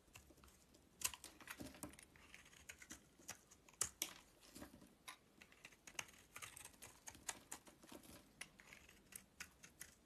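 A solid oval bar of soap with a white core and purple rim, held in the hand, is scraped with a metal utility knife blade. Quiet, bright, crisp scratching clicks come in quick, irregular bursts, each dying away almost at once, with little low end.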